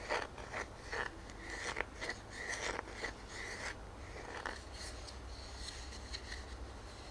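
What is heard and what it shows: Fingernails scratch and rub the ringed face of a solid round wooden tree-trunk slice with growth rings, a knot and a bark edge, held in one hand. Quiet, dry scraping strokes come in short bursts and longer rubs, with a rasp centred near 1.8 kHz and some bright edges. A steady low hum sits underneath throughout.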